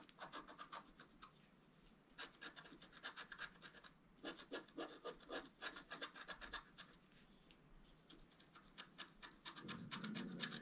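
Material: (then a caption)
Coated card. A wooden stylus scratches fine strokes into a flat scratch-art card, a black coating over a colored foil layer, held flat on a table. Bursts of quick, bright, papery scratches come in rapid clusters with brief pauses between them. Near the end a fuller, lower rubbing sound joins in.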